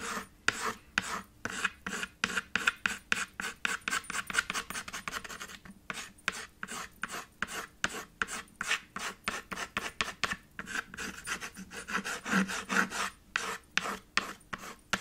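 White chalk held in the fingers rubs and scratches back and forth across a small, flat, solid black chalkboard slate in a red wooden frame, working chalk into the corners. Dozens of quick, dry rasping strokes follow one another in a steady rhythm, each a short, bright scratch with almost no low end and no ring after it.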